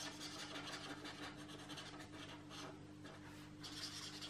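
A marker is rubbed in short, quick strokes over the paper page of an open paperback art deco coloring book lying flat, while the other hand holds the page. The strokes make a soft, continuous, bright scratchy rasp over a faint steady low hum.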